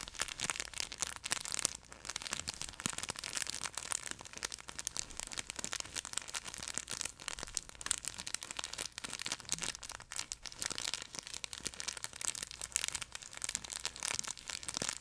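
A yellow plush chicken pet toy with an orange beak and a crinkle film layer inside its fabric is gripped by the neck in both hands close to the microphone, then squeezed and rubbed with the fingers. A dense, continuous, bright crinkling and crackling runs throughout with almost no low end.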